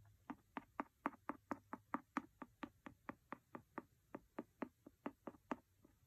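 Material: Paper.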